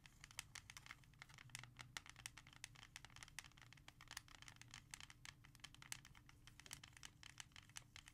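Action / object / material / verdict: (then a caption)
tap / hard plastic CD jewel case / hard plastic / none. Long red-painted nails tap and scratch quickly across the front cover of a small, hollow, hard plastic CD jewel case with a disc inside, lying flat on a leather surface. The result is a fast, quiet stream of sharp, bright clicks with no ring, mixed with dry scratching over a faint steady low hum.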